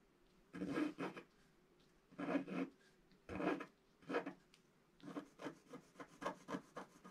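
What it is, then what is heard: Scratch-art paper being scratched. A wooden stylus scratches the black coating off a flat scratch-art paper page, making dry, raspy rubbing strokes. Several longer scrapes with pauses between them give way to a quicker run of short, brighter scratches.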